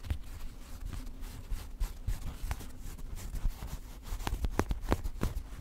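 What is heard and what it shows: Long nails and fingertips of both hands scratch and rub the densely embroidered colored-thread fabric on the chest of a black traditional Tajik/Afghan chapan coat being worn. A quiet, low, muffled rubbing runs throughout, broken by short, crisp scratches that grow sharper and more frequent toward the end.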